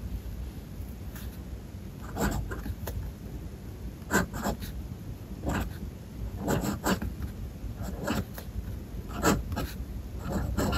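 The metal nib of a fountain pen scratches across a white paper page of a spiral-bound sketchbook resting on a desk, writing lowercase letters with the same page and pen throughout. Short, dry scratchy strokes come in quick bursts over a steady low background hum, with brief gaps between letters.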